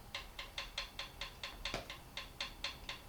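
On a Triumph T140 engine, the steel intake valve rocker arm of the left-hand cylinder is moved up and down by hand, giving 14 light, sharp metallic taps in a steady rhythm, mostly bright high-frequency clicks. The tapping shows there is a gap, and an 8 thou feeler gauge slides in with slight friction, confirming the valve clearance is correct.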